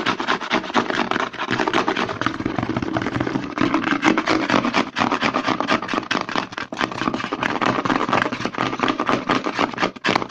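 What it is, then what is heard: Plastic lotion bottle. Fingertips and short nails rapidly scratch and tap the embossed side of a white plastic CeraVe lotion pump bottle held sideways and upside down. The result is a fast, dense, uneven stream of crisp plastic taps and scratchy rubbing, with a bright hiss running through it, that keeps going throughout.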